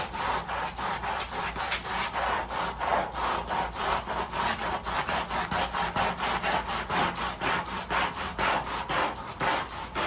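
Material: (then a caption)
Woven fabric. A long-handled white bristle brush scrubs the wet, foamy back side of a large flat woven fabric rug laid on plastic sheeting. It makes steady, rhythmic rasping strokes, about two per second, each a bright, wet scratchy swish.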